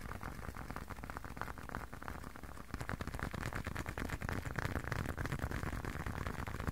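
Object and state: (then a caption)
Leather wallet tapped. A closed, hand-sized blue leather long wallet is tapped rapidly with fingertips and short nails. The result is a dense, soft, dull patter of quick taps with little ring, weighted toward low tones, growing slightly louder and busier partway through.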